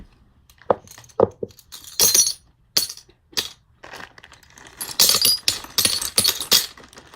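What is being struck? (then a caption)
Eyeglasses with lenses. Eyeglass lenses make a series of short, bright glassy clinks and clicks with almost no ring. Sparse taps come first, followed by denser bursts of clinking near the end.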